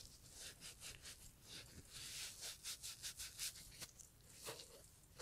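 A gloved hand rubs the upper of a brown Italian leather loafer with a small green sponge during restoration. Quiet, bright scrubbing strokes come in a steady rhythm of short swishes, with a faint low rumble underneath.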